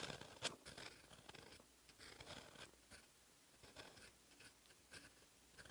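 A metal fountain pen nib scratches across a flat lined paper notebook page while writing Korean letters in black ink. Close, dry scratching strokes come in uneven bursts. They are bright and papery with little low end, and one sharper scrape stands out near the start.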